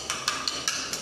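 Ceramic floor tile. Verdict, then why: Solid. A well-bonded, solid ceramic floor tile is tapped five times during a defect inspection. Each tap gives a short, bright click, pitched around 1.6 kHz with almost no low end. It sounds solid, not hollow.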